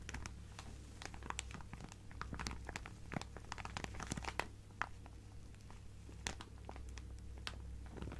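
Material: Plastic.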